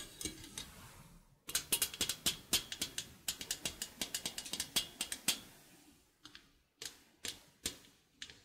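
Painted nails pluck and scratch the steel wires of a small stainless steel egg slicer, a hinged wire frame over a slotted metal base held in both hands. Bright, sharp metallic plinks come in irregular bursts, each dying away almost at once, with brief pauses between clusters.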